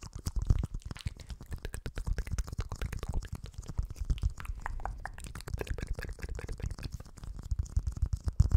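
Fingernails scratch a small, hollow, empty clear plastic dome lid held over the microphone, which is then lifted away by hand at the end. The close scratching comes as a dense, fast run of crackling taps with a heavy, muffled low thump beneath each stroke, with occasional louder bursts throughout.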